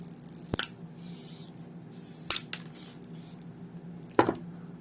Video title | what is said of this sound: What's inside? Planar IEMs. (featuring KZ PR1 and Kinera SPD) Brief History, theory of operation... | it definitely sounds like metal